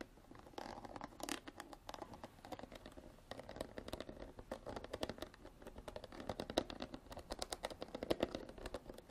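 Long black artificial nails scratch and tap along the ridges of a clear ridged plastic water bottle with an orange cap, partly filled with water and held sideways. Quick crisp clicks and scratchy scraping sounds come in dense bursts, each dying away almost instantly, with a mid-range plastic tone.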